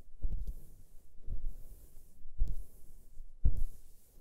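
Fingertips and nails of both hands scratch the belly of a white cotton gym T-shirt worn on the torso, a thin soft fabric layer over the body. The result is repeated muffled, low scratchy rubbing bursts about once a second, each with a faint bright hiss above, fading into quiet between strokes.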